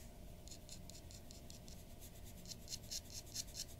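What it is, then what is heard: Paper drawing sheet. A glass dip pen nib scratches quick, short strokes across a white paper sheet resting on a wooden desk, drawing near the nose. Quiet, bright scratchy bursts repeat over a low steady hum, growing sharper and louder toward the end.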